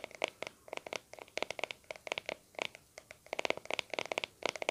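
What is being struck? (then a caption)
Plastic cream tub lid. Fingertips and nails scratch and tap the lid of a small round white plastic aloe vera cream tub with a blue label, held in both hands. About 27 quick, dry, clicky taps come in uneven bursts with a bright, hollow plastic tone and no low end.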